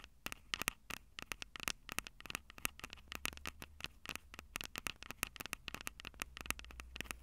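Long purple acrylic nails tap rapidly on the two metal-grilled microphone capsules of a Tascam DR-05 handheld recorder with a plastic body. The result is a dense, irregular run of sharp, dry clicks with a bright tone around 2.7 kHz. A steady low hum sits underneath.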